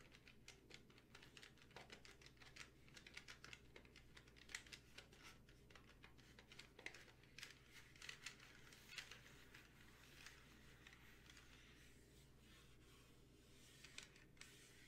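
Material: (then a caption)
Plastic. Long painted fingernails rapidly tap on the back of a hollow, handheld black plastic desk calculator. The taps are quick, dry and light, with short bright clicks over a faint low, steady hum.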